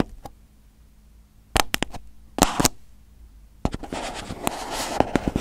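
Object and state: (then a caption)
Aluminium foil crinkled over a microphone. Crumpled aluminium foil wrapped over a hollow, hand-sized microphone head on a teal base is poked, pressed and crinkled with a fingertip. Sharp, bright pops arrive in small bunches and turn into a dense, continuous crackling rustle.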